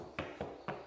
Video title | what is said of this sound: [구옥 셀프리모델링 EP.19] 세상 모두가 양심적이고 착한사람만 있는건 아닌가 봅니다 | 이런 소리 여기가 뜬 거거든요